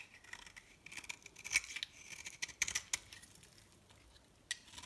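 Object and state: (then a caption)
Dry bar soap. The remaining piece of a solid, dry blue and cream bar of soap, held in the hand, is cut and scraped with a metal knife blade, leaving crumbly shavings. The sound is a quiet series of dry, brittle scrapes and crisp crackling clicks. It is almost entirely high and bright, with very little low end, and each click dies away quickly.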